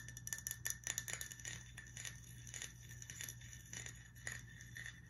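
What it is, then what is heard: Glass whiskey bottle. A glass whiskey bottle is tapped and scratched, giving a quick run of bright clinking, chime-like taps with short scraping between them. A steady low hum sits underneath throughout.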